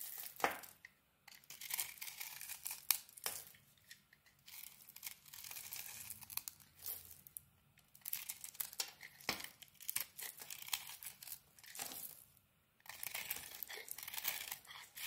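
A rectangular pink bar of soap with a dry, crumbly white interior is held in the hand and scraped and carved with a small metal blade, sending flakes falling off. The result is quiet, bright, dry scratching and crackling in repeated bursts, with short silent pauses between strokes.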